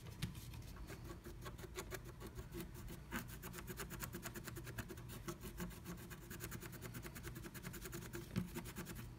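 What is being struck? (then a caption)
Scratch art paper scraped with a wooden stylus. A wooden stylus scratches flat black scratch art paper inside a diamond-shaped cut-out of a plastic stencil held down by fingertips. Quick, dry scratching strokes repeat steadily throughout, with a bright rasping edge over a low, soft rumble.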